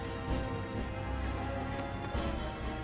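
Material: Nothing is struck.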